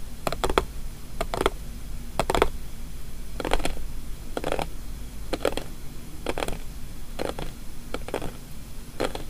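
Long painted nails tap and scratch the closed lid of a small square white paperboard gift box with blue polka dots and a green label, lying on a table. Short, dry clicks and brief scratchy taps come in quick clusters and die away at once. A steady low hum sits underneath.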